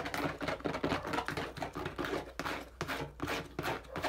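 Fingertips and nails quickly tap and scratch along the side of a hand-held, hollow, medium-sized teal and dark blue plastic bottle. The result is a rapid, irregular run of hollow plastic clicks and taps mixed with brief scratchy rasps. Each tap fades quickly with a slight low resonance.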